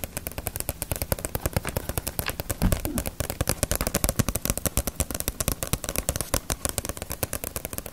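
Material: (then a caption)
Paper. A small, solid Ace of Diamond paperback manga volume with a glossy paper cover is held in both hands and tapped rapidly on the cover with long nails. The result is a steady, fast stream of dry, sharp clicks with a dull low thump under each one. Around the three-second mark, a short, denser burst of heavier tapping rises slightly in level.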